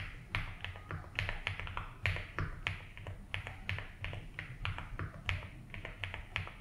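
Fingertips slowly type on a 75% mechanical keyboard with ABS keycaps in a light blue plastic case. Each keypress is a short, sharp plastic click with a bright upper edge, spaced in an unhurried, uneven rhythm. A steady low hum sits underneath throughout.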